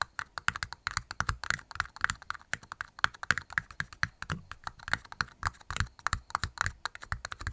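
Two small, hollow, empty red plastic party cups, held upside down in both hands, are tapped rapidly with long nails and fingertips. The result is a steady stream of short, dry clicks with a hollow, bright ring around 1.6 kHz and soft low thumps underneath. The cups stop ringing almost instantly after each tap.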